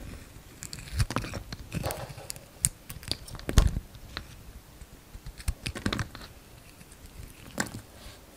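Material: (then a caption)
Soap. A hand-sized, solid gold-coloured Palmolive bar soap with a pink inside is shaved into thin slices with a utility-knife blade. Irregular short scraping and cutting sounds come as crisp, crunchy clicks with a dull low thud underneath and bright edges on the sharpest strokes. Each one stops almost at once against a quiet background.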